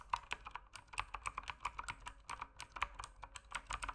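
Fingertips type steadily on a mechanical keyboard with plastic keycaps, producing a quick run of short, dry clicks and clacks. Each keystroke is crisp with a mid-range tone around 1 kHz and a bright edge, dying away almost instantly.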